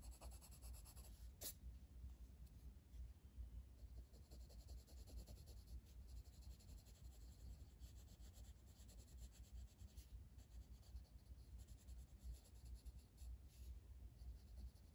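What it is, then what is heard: Colored pencil shading on paper. A blue wooden colored pencil, held in the fingers, shades with rubbing strokes across a flat paper coloring book page on a table. A steady, quiet, low-heavy scratchy rub continues throughout, with faint bright edges on some strokes and an irregular back-and-forth rhythm.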